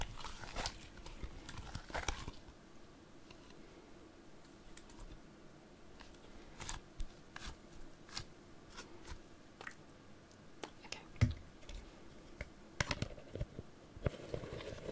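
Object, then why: Small plastic jar with lid. Long nails tap and scratch a small clear plastic jar with a pink lid and a label. Sharp, bright clicks come in scattered bursts over a soft, low scratching rustle. The taps are short and dry, with almost no ring.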